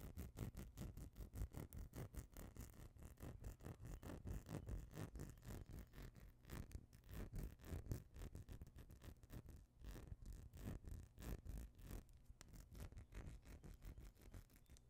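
A small clear glass perfume bottle with a pink tint, apparently part-filled, is held close to the microphone and quickly tapped and scratched with fingernails. The result is a rapid, steady stream of short, dull clicks and scrapes, weighted toward the low end with only faint brightness, each tap dying away almost at once.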